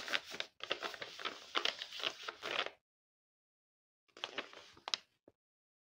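A large Hello Kitty paper blind bag, covered in clear tape and filled with small packets, is held in both hands and squeezed and rubbed with fingertips and painted nails. Bright, dense crinkling runs for nearly three seconds, stops in silence for over a second, then resumes briefly with a few sharper crackles before ending in a soft tap.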